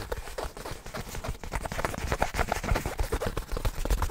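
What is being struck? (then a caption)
Synthetic nylon fabric bag. Fingertips scratch, rub and handle a soft, hollow black nylon fabric bag held close to the mic. The sound is a dense, irregular stream of scratchy rustles and soft low thumps, weighted toward the bass with little high brightness, building slightly louder toward the end.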